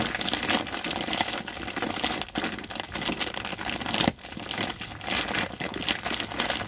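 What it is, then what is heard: Plastic rice sack being crinkled. Fingertips scrunch and crinkle the plastic at the top of a large white plastic rice bag, likely woven polypropylene, with red print and a red plastic handle, full of rice. A dense, bright crackling rustle runs almost continuously, with little low end. It briefly eases just after 2 seconds and again just after 4 seconds before picking back up.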